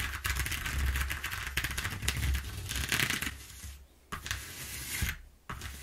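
A flat brown corrugated cardboard sheet with exposed flutes rests on a wooden table while long nails and fingertips tap and scratch quickly over the ridges. The result is a dense, rapid crackle of bright, papery scratches over a low, soft thumping, which dips quiet twice near the end before picking up again.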